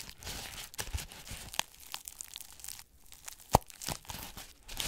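Long red-painted nails scratch and rub along the black-dyed straw bristles of a small decorative witch's broom held up close in both hands. The result is a dry, crinkly, crackling scratch with bright hiss and many quick overlapping flicks, plus one sharper snap partway through.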